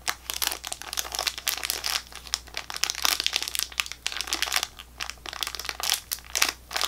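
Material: Plastic film.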